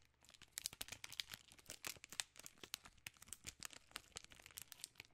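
A full king-size Reese's candy bar in a plastic film wrapper is crinkled and scratched with long nails. The result is a quiet, dense run of sharp, bright crackles and clicks, with almost no low end and each snap dying away almost instantly.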